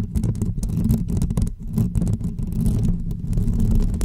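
Long almond-shaped fake press-on nails on both hands scratch the hollow woven metal dome grille of a pink microphone up close. The result is a continuous, dense, deep rumbling scrape with a low hum-like body and quick brighter crackling flicks layered on top.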